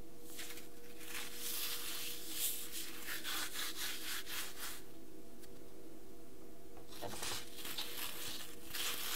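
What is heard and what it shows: Small pieces of dry green floral foam, a light porous solid, are squeezed and crumbled between bare fingers and rubbed between the palms, with crumbs scattered on a white table. Bursts of crisp, bright crumbling and gritty rubbing come in quick, uneven waves, pausing briefly in the middle before resuming, over a steady low hum.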